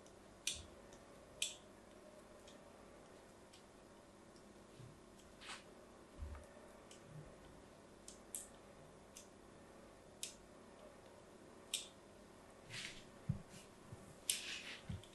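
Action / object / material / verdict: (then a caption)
scrape / soap bar / soap / none. A small blade cuts lines into the edge and face of a solid white bar of soap held upright. About fifteen short, bright cutting and scratching clicks come at uneven intervals, some with a soft low thud, over a quiet background.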